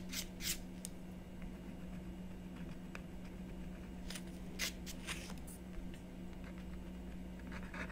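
A stylus scratches fine detail lines into the coating of a flat, solid scratch-art board made of coated paper on cardboard, resting on a wooden table while the other hand rests on the board. Short, bright scratching strokes come in scattered bursts over a steady low hum.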